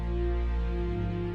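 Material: Nothing is struck.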